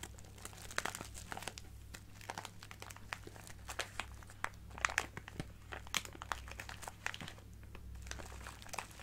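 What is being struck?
Plastic bag of acrylic gems.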